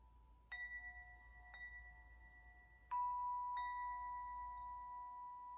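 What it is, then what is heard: Metal tube wind chime. Long hollow metal chime tubes hang from a hand-held top while a free hand knocks and sways them, so they ring as they strike the clapper and each other. A few separate clear strikes sound out, the loudest near the end, each leaving a steady, sustained ring of pure tones around 1 kHz, 2 kHz and a lower 700 Hz note that carries on between hits.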